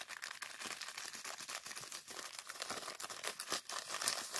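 A small clear plastic zip-lock bag partly filled with purple sand is held in both hands while the fingers squeeze and rub it. The plastic gives a steady, bright crinkling with gritty, sandy rustles, with no low end.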